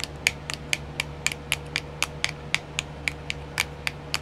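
Long nails tap on a small, round, clear plastic nail art wheel with filled compartments. There are 17 short, crisp, bright clicks at a fairly even pace, each dying away almost instantly. A faint steady low hum and a thin constant tone sit underneath.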